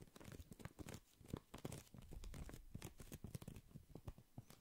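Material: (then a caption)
Plastic. A small, hollow, transparent plastic pencil case or zip pouch is held in both hands while fingertips squeeze, tap and crinkle the plastic. The result is a dense run of quiet, dry crinkling and tapping with a soft low body and bright crackly edges, each sound cut off almost instantly.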